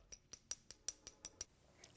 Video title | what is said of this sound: Restoring a Gold Rolex back to its former glory in just a few minutes | this is what plastic sounds like